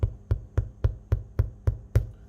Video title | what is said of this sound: Easy Meals - Bread! | if you hear that and it sounds hollow it's done